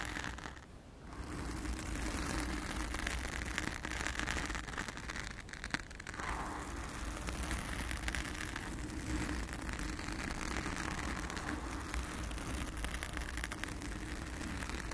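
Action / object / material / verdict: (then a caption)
scrape / foam microphone windscreen / foam / none. Long acrylic nails on both hands scratch and rub a soft, porous, round blue foam windscreen covering a microphone. The result is a dense, continuous crackling scrape with a heavy low rumble, broken only by a brief quieter dip near the start.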